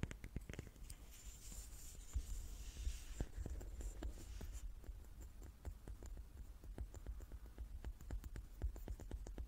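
Long nails tap the faces of a hand-sized, solid light wooden die with dark pips held in the hands. Quick, dry, short clicks and taps come in an irregular stream over a low, soft rumble, with a faint bright hiss in the first half.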